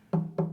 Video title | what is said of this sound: Pam Collins- Common Ground- First Air Date March 15, 2012 | this is your sounding board and you can hear it's hollow inside so you can hear how that really echoes